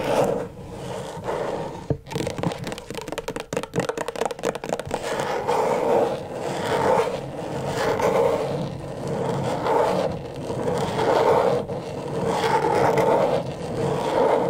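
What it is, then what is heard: Plastic LED light pad. Long stiletto nails tap and scratch the plastic surface of a flat, thin, backlit rectangular LED tracing pad. A quick flurry of crisp, clicky taps comes first, followed by steady, rhythmic swells of raspy scraping with a mid-range hiss that rise and fade again and again.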